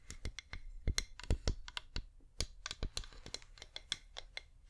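A cream flameless wax pillar candle with a scalloped rim, held in both hands, is tapped with long painted nails. About two dozen quick, irregular taps each give a dull low knock with a bright, clicky tick on top. Each tap dies away almost at once.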